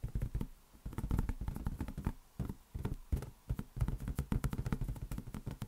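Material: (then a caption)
Latex rubber. A large, hollow, air-filled green latex rubber balloon is tapped rapidly with the fingertips of both hands. The taps are quick, dull, low thumps with a soft boomy body and almost no ring, arriving in fast uneven bursts with brief pauses between them.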